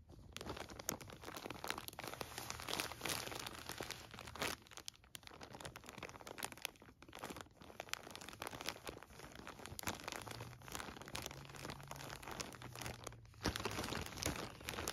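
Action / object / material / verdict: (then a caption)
tap / plastic bag filled with cotton balls / plastic / none. Flat hands with painted nails press, pat and tap a clear plastic resealable bag full of soft cotton balls lying on carpet, before one hand grips the bag's edge. The plastic gives a quiet, continuous crinkling and crunching with many quick, dry taps that die away almost at once.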